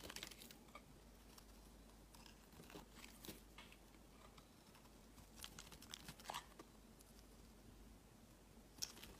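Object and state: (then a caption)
Bar of soap being carved. A palm-sized solid green bar of soap is held in one hand while a utility knife blade shaves curled slices off its edge. Quiet, dry crisp scraping and crunchy shaving sounds come in bursts with many short, bright clicks and cuts over a low steady hum. A sharp louder click comes near the end.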